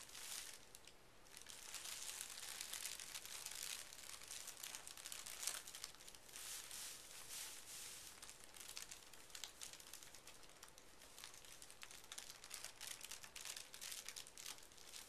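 A large, flat sheet of thin pink tissue paper lying on carpet is rubbed and smoothed by hands with fingertips and short nails. The result is a steady, quiet, bright crinkling and rustling, dense with tiny crackles and occasional slightly louder swishes, and very little low end.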